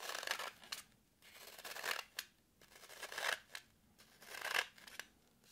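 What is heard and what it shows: Long nails scratch and dig into a solid, porous green floral foam brick held in the hand. Four rasping passes swell in loudness, each ending in a sharp, crisp crunch. The sound is dry and bright, with almost no low end and quiet pauses between passes.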